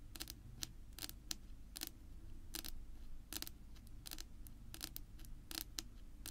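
Long pink nail tips tap on a flat, solid, dark wood-grain tabletop, making quick, sharp clicks with bright, crisp tops that die away almost instantly. About fourteen taps stand out in irregular bursts over a steady low hum.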